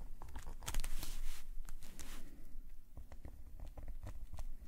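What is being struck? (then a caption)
Metal pen nib on a paper sketchbook page. A metal calligraphy nib scratches repeated short hatching strokes across a black paper sketchbook page. The quick, irregular strokes make dry scratchy clicks, with a brief rougher rasp near the start and the strokes continuing steadily afterward.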